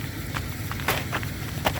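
A solid crust of ice left by freezing rain on the ground is struck or stepped on, giving two short, bright, glassy cracks that stop almost at once over a steady low rumble. The ice holds as a hard, solid sheet.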